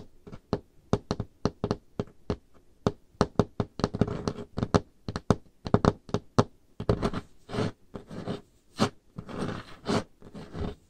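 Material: Wood.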